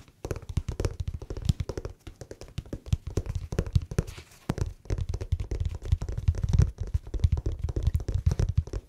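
Fingertips tap rapidly on the smooth grey rubbery sole of a grey slipper with a fuzzy fleece lining, held in the hand. The taps are soft, dull and low thunks with almost no ring, coming in quick, uneven bursts with brief pauses.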